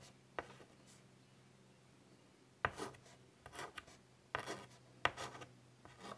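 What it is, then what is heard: Chalk drawn on a wood-framed chalkboard. White chalk is drawn across a large, flat, wood-framed chalkboard in short, scratchy strokes. Several separate bursts of bright, dry scraping start with sharp onsets and fade quickly, with quiet pauses between them. A faint, steady low hum sits underneath throughout.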